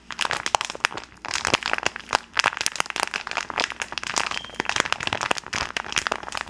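A rainbow-printed plastic gummy candy bag is held flat and crinkled and rubbed between gloved hands close to the microphone. Dense, bright crackles and sharp crinkling snaps come in rapid, uneven bursts with short gaps. The sound is papery and crunchy, with almost no low end.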